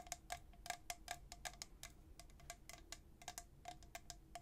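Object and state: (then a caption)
Stainless steel tumbler. A tall, hollow, white-coated stainless steel travel tumbler with a black plastic lid is held in one hand and tapped on its side by the fingernails of the other hand. About twenty quick, bright clicks ring with a short metallic tone near 710 Hz, each dying away almost at once. A faint low background rumble sits underneath.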